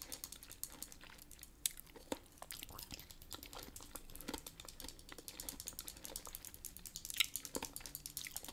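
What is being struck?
Small plastic lipstick tube.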